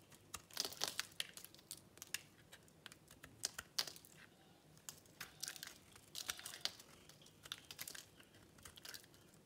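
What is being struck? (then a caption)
Bar of soap scraped with a metal blade. A metal cutter blade scrapes a solid, dry light-green bar of soap held in the palm, shaving off crumbly pieces onto a polka-dot cloth. The sound is a quiet series of sharp, dry, bright crunching and crinkling scrapes in uneven bursts, with almost no low end and no ring after each stroke.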